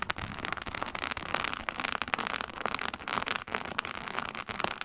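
Long pointed nails scratch and drag across a flat, iridescent faux snakeskin mat of synthetic leather embossed with reptile scales. The result is a steady, dense, crackly rasp, bright and papery with almost no low end, broken by quick sharp ticks as the nails catch on the scales.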